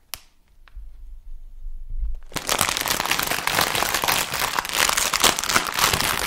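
A medium, sealed Funny-frisch crisp bag made of plastic foil and full of crisps is held in the hands and crinkled and squeezed with the fingers in front of the mic. After a sharp click and a couple of seconds of near quiet with a faint low rumble, a dense, bright, crackling crinkle starts abruptly and continues steadily to the end.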